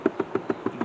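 A compost tumbler for garden waste is tapped six times at an even pace. Each tap gives a short, dull, hollow knock with a low-mid body around 390 Hz and almost no ring.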